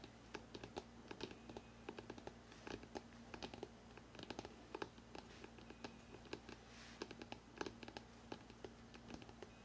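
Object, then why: Hardcover book spine. Fingertips tap quickly on the spine of a hardcover book printed "NEW YORK," held horizontally. The result is a rapid, uneven stream of short, dry clicks, much like typing on a keyboard, over a quiet, steady low hum.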